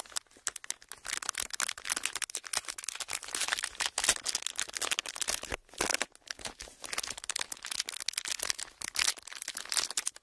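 Clear ridged plastic packaging is curled in both hands, then squeezed and crinkled with the fingers. It makes a dense, continuous run of bright, crisp crackles and sharp snaps with almost no low end. Each snap dies away almost instantly, with brief quieter gaps between bursts.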